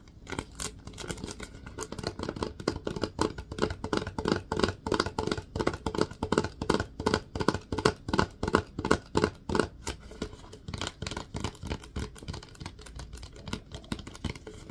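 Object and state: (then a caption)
Plastic disinfecting wipes canister. Fingers tap and scratch the label and lid of a hollow plastic Lysol disinfecting wipes canister held upright. The result is a fast, uneven run of short, dry, hollow taps with a low resonant tone and light scratching between them. The taps are loudest in the middle and ease off toward the end.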